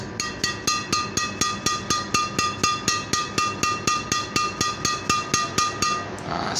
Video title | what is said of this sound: Istimewa Nya Flypower Argapura Agripina Series 🤘🇮🇩 #flypower #agripina #raketbadminton | suaranya nyaring sekali ini ya ini luar biasa sekali